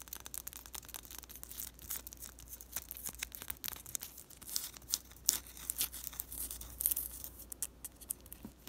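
Long pastel nails scratch and tap a round, white, fist-sized solid bath bomb held in both hands, wrapped in thin glossy plastic with a label. Quiet, bright crinkly scratches and quick, irregular clicky taps come in rapid bursts over a faint, steady low hum.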